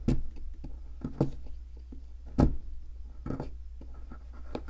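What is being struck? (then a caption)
Plaster block scraped with a metal chisel. A wooden-handled metal chisel scrapes and chips at a solid white plaster ammonite fossil excavation block. Short, dry, irregular chipping and scraping sounds rise above a steady low hum, with the loudest strikes near the start and middle.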